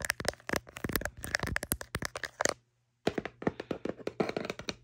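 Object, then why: Small kraft cardboard box. Long manicured nails and fingertips rapidly tap and scratch a small, hollow printed kraft cardboard box, bamboo cutlery packaging possibly holding cutlery, lying on fabric. The result is a steady stream of quick, dry, crisp taps and brushing scratches with almost no ring, broken by a brief silence in the middle before the tapping resumes.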